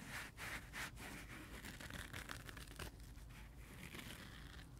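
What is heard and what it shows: A dry, rainbow, multicolor, heart-shaped porous foam sponge is held in hand while fingertips and nails scratch and rub its edge and face. A few bright, dry scratching bursts open the clip, then settle into a steady, soft rasping rub over a low background rumble.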